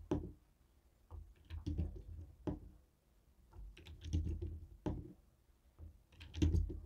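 A jade stone roller taps and rolls over the buttons of a white and black hollow plastic TV remote control. The result is soft, low, hollow plastic knocks and button clatters with brief bright clicks, coming in irregular bursts separated by short quiet gaps.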